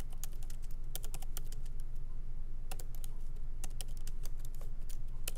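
Both hands tap lightly with their fingertips on the plastic keycaps of a MacBook Pro laptop's aluminum body, which sits on a wooden desk. The quick, irregular typing produces short, bright clicks that die away almost instantly, over a steady low hum.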